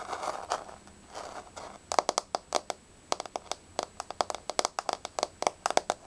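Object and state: Wooden floor.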